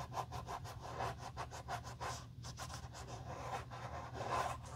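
A soft cotton cloth rubs the outer side and inner collar of a hollow, empty black pebbled-leather Tod's driving loafer held in a gloved hand. Quick, brushy scratching strokes repeat steadily over a low, constant hum. The rubbing swells slightly near the end.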